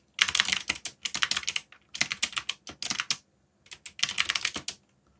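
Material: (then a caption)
Plastic. Fingertips type on a backlit black plastic mechanical keyboard in quick bursts, separated by short pauses. Each keystroke is a bright, crisp click that dies away almost instantly, with almost no low end.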